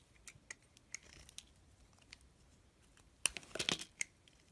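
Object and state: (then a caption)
Bar soap being cut. A utility blade peels curled slices off a solid bar of white soap with a multicolor painted coating, held in hand. Sparse, crisp, bright crackling ticks and light scraping sit over quiet hiss, followed by a louder cluster of sharp cracks and crumbly scraping near the end.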